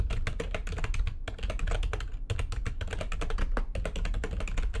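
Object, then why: Plastic computer keyboard. Fingertips with long nails type fast on the keys of a full-size, low-profile, backlit plastic computer keyboard resting on a desk. The result is a dense run of sharp, bright clicks and taps that end quickly, over a steady low rumble, with short pauses between bursts.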